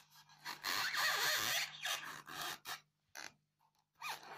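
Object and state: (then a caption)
Styrofoam block being scratched. Long fingernails scratch the top of a solid, square white polystyrene foam block with loose beads. Bright, squeaky scraping comes in several strokes, one long and the rest short, separated by quiet gaps. A faint low hum runs underneath.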